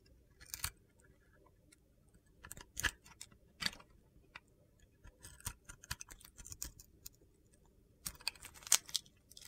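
A metal box-cutter blade scrapes thick white shavings off a solid rectangular soap bar with a yellow and navy glitter coating, held in the hand. Short, crisp, gritty scraping crunches come in irregular bursts, bright and high-pitched, separated by quiet pauses.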